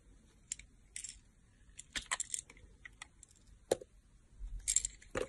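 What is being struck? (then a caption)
Glycerin soap bar cut with a knife blade. A solid, round, translucent teal glycerin soap bar has thin layers shaved off with a utility knife blade held by fingers with long nails. Short, crisp, bright scraping and carving strokes come at irregular intervals, with quiet gaps between them.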